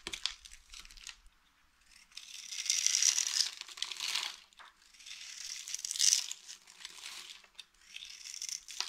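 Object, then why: Soap bar scraped with a metal blade. A small, solid lilac dry soap bar with a textured top, held in the hand, is scraped with the metal blade of a green utility knife, shaving off flakes. The scraping comes in several sustained bursts of dry, crinkly, crunching texture, almost entirely high and bright, separated by brief quiet gaps.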